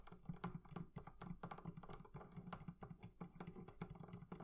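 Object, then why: Leather-covered barrel chest. Fingers tap quickly and irregularly on the leather covering of a barrel chest. Each tap is a soft, dull, low thud that dies away almost at once, with a faint brighter click on top.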